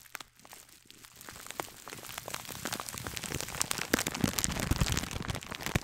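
Long dark-painted nails scratch and crinkle a clear plastic bag sealing one small gold glittery scouring sponge, held in one hand close to the mic. Dense, bright, crackly scratches and crinkles come in quick irregular bursts, growing steadily louder from a quiet start.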